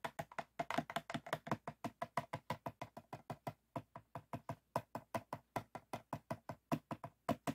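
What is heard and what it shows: Fingertips and short nails of both hands tap and scratch the ridged sides of a clear, empty, hollow PET water bottle with a blue cap, standing upright on white foam. About 42 quick, dry, hollow taps sound in an uneven rhythm, each with a hollow body near 270 Hz, a brief crackly scrape and almost no ring.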